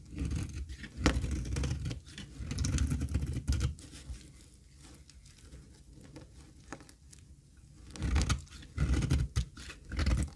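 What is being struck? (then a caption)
Olive oil soap bar. A thin, dry, solid cream olive oil soap bar held in the hand is scraped across its surface with a metal box-cutter blade. Bursts of low, rough scratching patter come in the first four seconds, fall to a quiet stretch, then return near the end.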